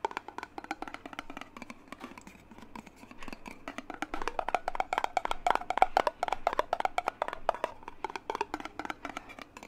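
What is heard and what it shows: A clear glass mason jar with a metal lid, partly filled with water, is held in one hand and tapped on its glass side with the fingertips of the other hand. The result is a rapid, irregular stream of short, dry clinking taps with a glassy tone around 760 Hz. The taps grow louder and denser in the middle of the clip before easing off again.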